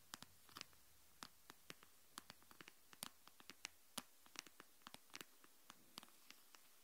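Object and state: Plastic phone case tapped and scratched with nails.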